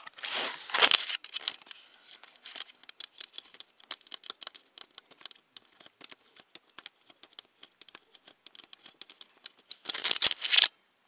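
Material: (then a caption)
Plastic. Long nails tap and scratch around the lens and hollow plastic body of a black Nikon DSLR camera held close. Bright, dry scratching opens and closes the clip, with many quick, crisp taps clicking in between, each one short with no ring and almost no low end.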